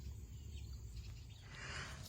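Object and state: Nothing is struck.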